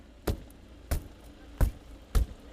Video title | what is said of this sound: 국힘 중재에도 체육단체 진입 저지…이 시각 개표소 [뉴스PLUS] 다시보기 2026년 06월 16일 / YTN | 비상 탈출 망치를 활용해 유리창을 깨봐도 탈출 공간이 쉽게 확보되지 않습니다